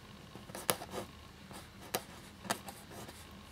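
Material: Paper.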